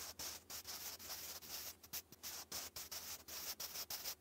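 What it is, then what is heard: Pencil writing on lined paper. A sharpened wooden pencil held in the fingers scratches cursive letters continuously onto a textured lined notebook page. The result is a bright, dry scratching hiss that comes in short strokes with brief gaps between them.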